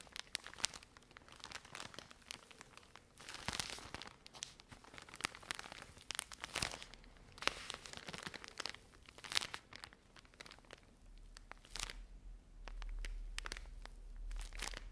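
A full plastic-film pack of cotton pads is scratched with long nails and squeezed, giving bright, crinkly rustling with many quick scratchy ticks. Softer stretches of squeezing swell up near the end.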